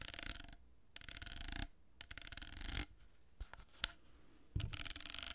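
Long nails tap and scratch the surface of a hollow cardboard tube with plastic pearl beads glued onto it. Bursts of dry, gritty, broadband scratching alternate with quieter gaps and a few separate sharp taps.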